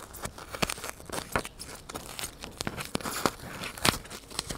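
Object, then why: Polystyrene foam block. A solid white polystyrene foam block held close to the microphone is pierced and scratched with a needle and fingertips. The result is a dense run of dry, crunchy, squeaky crackles and sharp snaps with bright high edges that stop dead with no ring.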